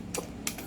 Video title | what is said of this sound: Unbox N Review of 7.0 Dragon & M4A1 Camouflage | yung barrel niya kumakalog kasi hindi pa naka-fix outer barrel to